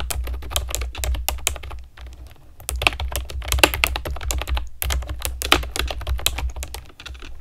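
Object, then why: Plastic keyboard with round keycaps. Long nails and fingertips type quickly on a pastel plastic keyboard with round keycaps, producing many sharp, bright clicks over a steady low hum. There is a short pause near the two-second mark and another just before five seconds.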